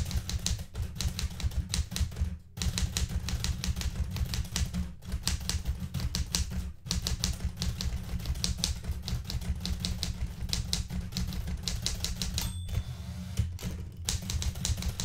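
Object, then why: Metal manual typewriter. Fingertips with red-painted nails type on the plastic keys of a blue metal portable manual typewriter, making rapid, bright clacks over a heavy low thump with a few short pauses. Near the end, a carriage return gives a brief ringing tone and sliding sound before the typing resumes.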